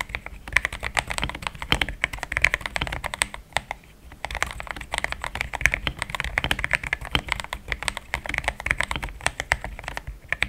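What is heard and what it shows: A compact pink-and-white mechanical keyboard with thick plastic XDA keycaps, a polycarbonate plate and linear switches sits on a desk mat and is typed on quickly with the fingertips of both hands. Rapid, short, bright plastic clacks run through the clip, centered around 2 kHz with a soft low thump under each press. Typing pauses briefly around the four-second mark, then the dense key presses resume.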